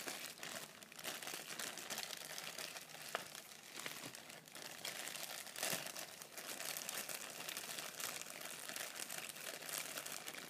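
A clear plastic poly shipping bag with a barcode label and dark soft contents inside is held in both hands while fingers crumple and crinkle the plastic. The result is a steady, bright crackling and crinkling that continues for about ten seconds, with small sharp snaps scattered throughout and almost no low-end weight.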